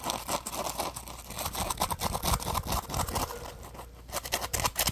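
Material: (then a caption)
Polymer foam. Fingers squeeze and scratch a solid yellow textured polymer foam Scrub Daddy sponge held in the hands. The result is a dense run of bright, crinkly scratches and soft squeaky crunches, with a brief quieter stretch near the end before the scratching picks up again.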